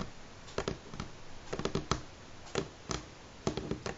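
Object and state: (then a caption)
Wooden table. Fingernails tap on a wooden table at varying speeds, producing about a dozen short, dry clicks in irregular clusters. Each tap dies away almost instantly against a faint, quiet background hiss.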